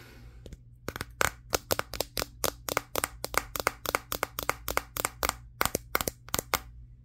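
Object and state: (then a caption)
Smartphone with matte glass back, tapped. Fingertips and short nails tap the matte glass back of a Samsung Galaxy S23, the same phone doing the recording. Around thirty sharp, dry, crack-like taps arrive in quick, uneven bursts with almost no ring. They sound bright and clicky over a faint steady low hum.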